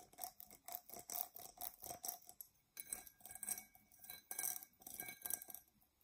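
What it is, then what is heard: Glass tumbler scratched with fingernails. Long fingernails scratch the outer surface of a hollow, empty dark glass drinking tumbler as it is held upright and tilted. The result is a quiet series of bright, dry, scratchy strokes in an irregular rhythm, over a faint steady ring near 700 Hz and occasional higher tones.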